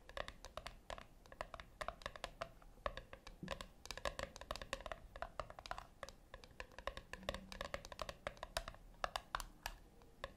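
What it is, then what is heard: Metal tin tapped with nails. Long acrylic nails tap and scratch the flat top of a small round brushed-silver metal tin resting on a white cloth. It makes a quick, uneven run of light, bright clicks with a faint metallic ring near 720 Hz that dies almost instantly, with soft scratching between the taps.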